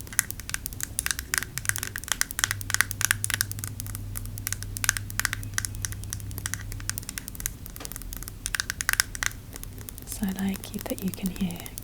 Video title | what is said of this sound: ASMR 🖤 Tapping Only! | you can hear kind of all three sounds as I move back and forth across